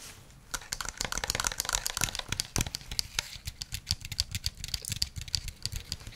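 A white handheld plastic game controller with a hollow shell is held in both hands and tapped with fingernails and fingertips. Rapid, dense, sharp clicking taps with bright high-frequency ticks ring briefly over a low hollow thump from the shell.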